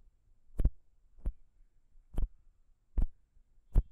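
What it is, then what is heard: Metal microphone capsule tapped with fingernails. Long pink nails of both hands tap and scratch the small chrome metal microphone capsules of a Zoom H6 recorder. Five separate, unevenly spaced taps land as deep, boomy thumps with a brief bright click on top, each dying away almost at once. Faint low rumbling fills the gaps between them.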